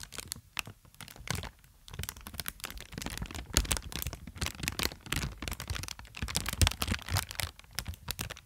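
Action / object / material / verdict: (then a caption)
scrape / inflated plastic air pillow packaging / plastic film / none. Inflated plastic air pillow packaging, held right by the microphone, is crinkled and squeezed with fingertips and long nails. The result is a dense run of sharp crackles, bright crinkling snaps and dull low thumps from the handling, each dying away almost instantly.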